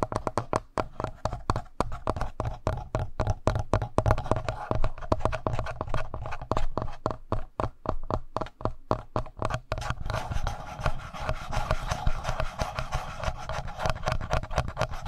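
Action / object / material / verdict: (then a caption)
scrape / plastic handheld audio recorder / plastic / none. Fingertips rub and scratch the front panel of a black plastic Tascam handheld audio recorder, just below its mics. A rapid stream of close, bassy taps and scratches comes first, with a hollow midrange tone. After about ten seconds it shifts to steadier, brighter rubbing with a soft hiss.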